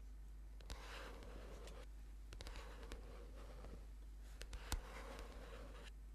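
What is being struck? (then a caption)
Paperback book cover. A thick orange paperback book lying flat has its cover tapped and scratched with fingernails. Soft, hissy scratching strokes come in two stretches, broken by quick, sharp taps that die away almost instantly. A steady low hum sits underneath the quiet clip.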